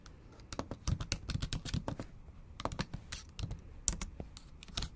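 Long acrylic nails type on a MacBook Pro laptop keyboard with black plastic keys set in an aluminum body. Quick, irregular clicking taps come in bursts, each with a soft low thud and a bright, sharp click that dies away almost at once.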